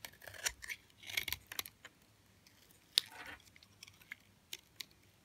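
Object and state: Hard, dry bar of soap.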